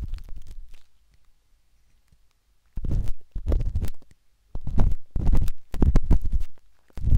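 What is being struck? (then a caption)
Silicone binaural microphone ear scraped by a metal-tipped stick. A metal-tipped dot stick with a wooden handle, held in the fingertips, scratches inside the soft, hollow canal of a pinkish-white silicone binaural microphone ear. Deep, muffled scraping and rumbling bursts come in clusters with quiet gaps between them, almost entirely low in pitch.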